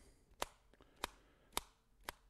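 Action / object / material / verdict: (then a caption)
knock / comic book in a mylar bag with a full-back board / mylar, board / rigid. A comic book sealed in a 2 mil mylar bag with a full-back board is knocked four times to show how durable the packaging is. Each knock is a sharp, dry tap with a bright, papery-plastic click and almost no ring. The packaged comic is rigid and sturdy.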